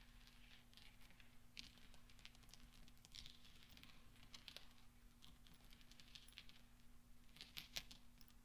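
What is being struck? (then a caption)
Small steel balls. Fingertips roll small solid steel pachinko balls on black velvet and clink them together. Quiet, soft rolling is broken by short, bright metallic clicks, over a steady low hum.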